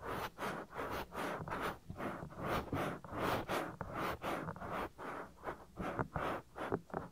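Fingertips rub and scratch the lower part of a soft, solid silicone ear on a 3Dio binaural microphone, near the ear opening. About 13 close, muffled scratchy strokes come in uneven bursts, each a soft hiss of rough friction centered in the midrange with little bright top and almost no ring. The strokes stop quickly between passes.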